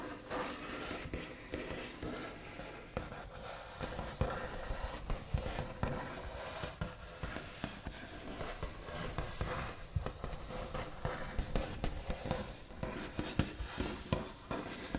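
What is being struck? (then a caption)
Wooden tabletop with smooth finish. The backs of fingernails tap, scratch and trace across a large, solid wooden tabletop with a smooth white finish. Quick, dry, low-toned knocks that die away almost instantly mix with soft, scratchy brushing strokes. The sound stays quiet and steady throughout.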